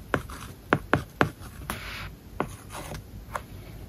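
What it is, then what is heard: Stylus writing on a tablet with a matte plastic film. A stylus writes an English word and kanji on an iPad's glass screen covered with a matte plastic paper-like film. Sharp little taps as the tip touches down are broken up by soft, dry scratching strokes across the film.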